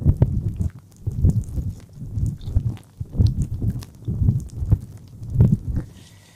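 Fingertips rub and tap directly on the small, soft silicone ear of a black dual-ear microphone. The result is deep, muffled thumping and rubbing in uneven bursts, with almost nothing bright above the low rumble.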